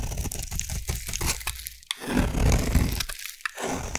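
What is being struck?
Bar soap scraped with a metal blade.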